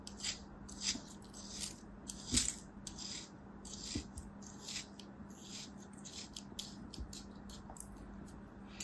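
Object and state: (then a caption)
Kinetic sand sliced with a knife. A palm-sized solid mound of beige kinetic sand, held in a hand with long white nails, is sliced repeatedly with a thin steel utility knife blade in a cutting, scratching motion. Each pass makes a soft, bright, crisp grainy scrape or crunch at an irregular pace. The cuts sit over a quiet, steady low hum.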